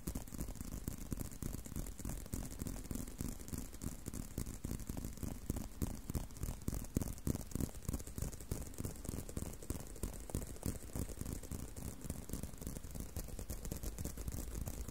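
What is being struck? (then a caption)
Leather belt strap. A long, wide brown leather belt strap, curved in front of the microphone, is scratched and tapped with fingertips and short nails. Rapid, irregular soft taps and scratches run continuously, dull and low-heavy with short, dry decays.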